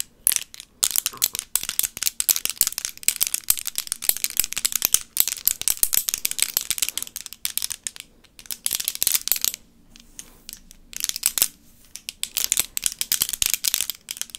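Extra-long solid acrylic nail extensions on both hands are held in front of a microphone without touching it and rapidly tapped and clacked together, nail on nail. The result is a dense stream of sharp, bright, very short clicks with almost no ring. Brief pauses fall around 10 and 11.5 seconds, and a faint low hum sits underneath.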